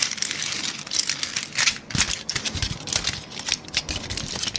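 A thin, crumpled aluminum foil sheet is held in both hands and crinkled, squeezed and scratched with the fingertips. Bright, crackling crinkles come in dense, rapid bursts that die away almost at once, with little low-end weight.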